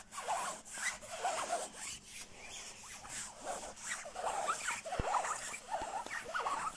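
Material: Nylon.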